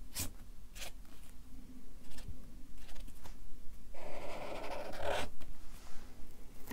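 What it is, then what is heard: Felt-tip marker writing on paper. A Sharpie marker writes text and draws a smiley on a stack of white paper on a clipboard, its felt tip rubbing across the paper. Short, uneven squeaky strokes give way to a longer, denser scratching stretch partway through, with bright edges over a steady low rumble.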